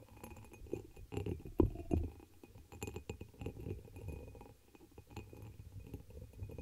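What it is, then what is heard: Glass chalice, tapped and scratched with nails. Long nails tap and scratch the embossed pattern of a dark amber glass chalice, hollow and empty and turned upside down over the microphone. The clip is full of soft, uneven clicks and scraping taps with a muffled low-mid resonance, plus a few louder knocks near the middle and short decay after each touch.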